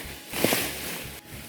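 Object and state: Nothing is struck.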